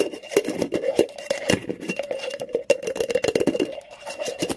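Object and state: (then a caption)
Cotton terry towel being scratched. Fingers and nails scratch and rub fast across a flat, textured cotton terry towel, dragging over the looped fabric surface and pushing up ridges. The result is a dense, rapid run of rough scratches and soft fabric rasps, with a steady midrange tone under bright, crackly edges that stay close and dry throughout.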